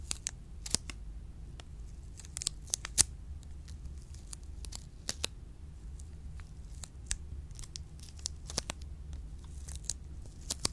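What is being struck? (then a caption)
Chocolate bar in plastic wrapper. Long pink nails scratch and tap an orange plastic-wrapped Choceur milk chocolate bar, solid and full, held close to the mic. Sharp, crinkly clicks and taps ring out over a steady low hum, each dying away almost at once.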